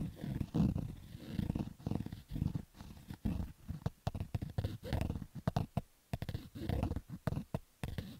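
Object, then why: Stitched cotton baseball cap. Fingertips and nails scratch along the stitched crown of a black cotton Adidas baseball cap, its hollow crown resting on carpet. The result is a run of rough, rumbling scratch strokes, dull and heavy in the lows with almost no brightness, sometimes almost growl-like, with short quiet gaps between bursts.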